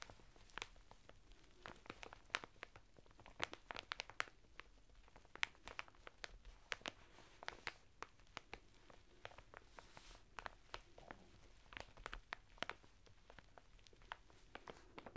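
Fingertips and short nails scratch and press a flat bath mitt of coarse woven natural fibre through the thin printed plastic packet it is sealed in, lying on a table. The result is a steady run of quiet, sharp crinkles and bright scratchy clicks over a soft rustling background.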